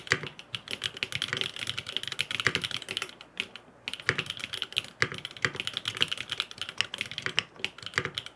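A grey aluminum FROG MINI mechanical keyboard with blue and purple plastic keycaps and no foam inside is typed on rapidly with fingertips. It gives a steady stream of crisp, bright clacks with short decays, pausing briefly near the 3.5-second mark before the typing resumes.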